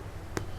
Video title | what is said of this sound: EPISOD 234 KOREAN CREAM CHEESE GARLIC BREAD | So kalau you knock dia, dia bunyi macam bunyi kosong, tu dah masak lah rotinya.